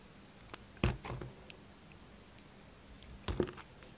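A red utility knife's steel blade carves into a solid, hand-sized, white-and-yellow striped bar of soap. Soft, dull cuts and scrapes come with small crisp clicks. Two louder bursts of crumbly cutting land near the start and near the end, over a quiet background.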